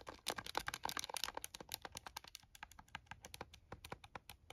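A plastic scientific calculator is held in both hands while fingers and nails tap rapidly on its buttons. The result is a fast stream of short, bright plastic clicks, dense and overlapping at first, then thinning into more separate taps.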